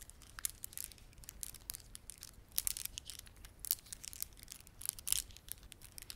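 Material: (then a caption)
Plastic. Fingertips rub and press a red, blue and white plastic beaded ornament, making a quiet, rapid stream of dry, bright clicks and crinkly rustles. The sharp ticks are high-pitched, stop instantly and come in uneven bursts over a faint low rumble.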